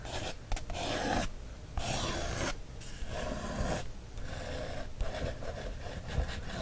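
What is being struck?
Paper coloring book page traced with a thin wooden stick.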